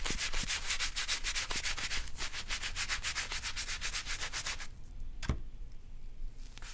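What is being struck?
Leather wallet scrubbed with a bristle brush.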